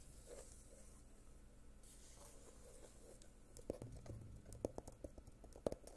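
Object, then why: Small glitter-covered cardboard box. A small rectangular gold glitter-covered box, likely hollow cardboard, is held upright in one hand beside the microphone and tapped and scratched with the fingernails of the other hand. Soft, steady scratching rustle fills the first half, then irregular sharp fingernail taps with a short hollow knock start to pop out. Everything stays quiet and close, with the taps dying away almost at once.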